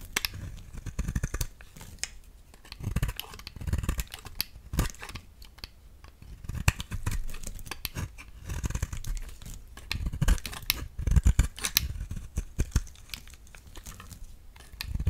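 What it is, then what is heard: Translucent glycerin bar soap being shaved. A solid, translucent amber glycerin-like bar of soap is held in the hand and shaved with a utility knife blade into thick flakes. The shaving makes a run of crisp, crackly slicing scrapes with short bright clicks, carried over a dull low thud as each flake comes away. It repeats in uneven bursts throughout.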